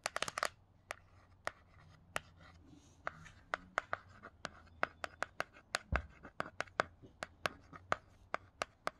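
A fingertip fitted with a paperclip-tipped nail traces and scratches the glossy cardboard cover of the same hardcover picture book, *Myths*, throughout. A quick burst of sharp, dry clicks opens the clip, then crisp, bright taps follow at a steady, spaced pace. Faint scratching and a low, quiet hum sit between the hits.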